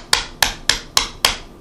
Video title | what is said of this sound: Let Me Show You My Grandmother's Backgammon Board -- ASMR -- Soft-Spoken, Tapping, Wood, Male | they used to have velvet uh so they wouldn't go bang on the table, right? Um, but uh the velvet's worn off